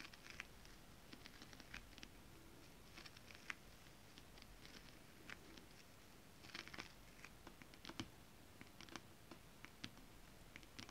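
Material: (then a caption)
Fabric. Long acrylic nails on both hands tap and scratch across a flat sheet of holographic mermaid-scale-printed fabric. Quiet, bright, crisp ticks and short scratchy strokes come in irregular clusters over a soft, low background hush.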